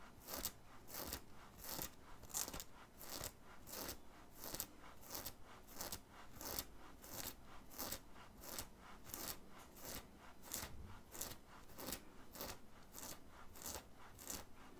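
Fingernails scratch a black printed cotton graphic t-shirt, worn on the chest under an open hoodie, rubbing across both the fabric and the print. Quick, dry, bright scratching strokes repeat at a steady rhythm of roughly one and a half per second. A soft, low rustle sits underneath.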